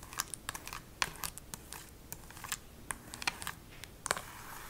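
Extra-long acrylic nails tap and scratch the front of a small, hollow plastic Nintendo Switch game case with a printed paper cover insert, held in one hand. The result is an irregular run of sharp, bright clicks that die away almost instantly, with soft scratchy rustles between them.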